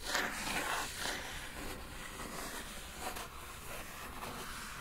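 A single long acrylic nail taps and scratches the lid of a closed kraft cardboard Glossybox shipping box. Soft, dry scraping and light tapping fill the clip with bright, papery rasps and brief low thumps under a steady hiss. The level stays low and fairly even throughout.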